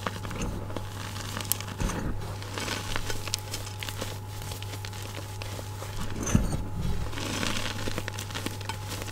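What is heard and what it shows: Oiled, glittery hands press into a bowl of loose white gym chalk powder (magnesium carbonate), scooping up handfuls and squeezing them. The result is a dense run of soft, crunchy crinkling and crackling over a steady low hum.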